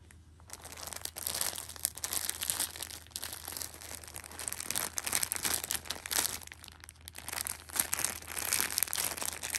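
A Shopkins pocket tissue six-pack wrapped in clear plastic film is lifted and squeezed, its film crinkled by fingertips and red nails. Dense, bright crinkling and crackling runs almost continuously in uneven bursts, with a few brief pauses and a faint steady low hum underneath.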